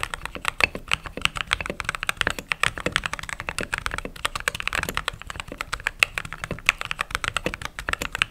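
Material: Plastic.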